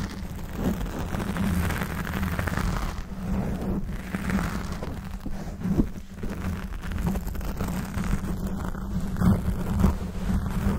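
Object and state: Foam microphone windscreen being scratched.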